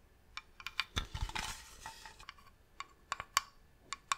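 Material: Wood.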